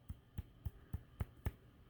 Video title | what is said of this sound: Crochet Doll - How to crochet a Doll - Easy Crochet Doll Pattern | i think this is stuffed good for now you can hear it if you thump it